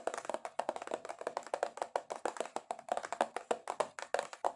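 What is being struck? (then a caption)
Cardboard box. Long acrylic nails tap aggressively and rapidly on a cardboard box. The taps are short, dry and hollow with a mid-pitched knock around 720 Hz, fast and uneven with no pauses, and each one dies away almost instantly.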